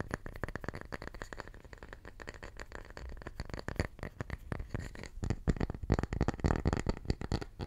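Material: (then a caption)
Wood. A small round slice of solid wood from a tree, held in both hands, is tapped and scratched with the fingertips. The result is a quiet, rapid run of dull, low wooden taps mixed with dry scratching, with very little ring. The taps grow firmer and louder in the second half.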